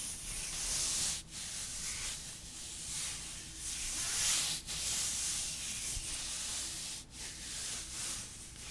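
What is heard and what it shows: A gloved hand in long, thin, sheer black nylon mesh opera gloves reaching the elbow rubs and slides along the other gloved forearm with the fingertips and palm, held away from the microphone. The fabric-on-fabric rubbing makes a steady, bright, airy hiss with soft scratchy texture. It has brief dips in loudness between strokes.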